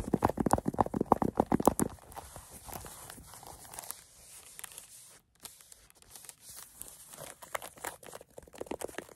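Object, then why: Small velvet zippered case. Long acrylic nails scratch and rub the fuzzy surface of a small, hollow green velvet zippered case. About two seconds of quick, loud, dense scratching gives way to softer, airy rubbing with scattered light scratches. After a brief pause, brisker scratching returns.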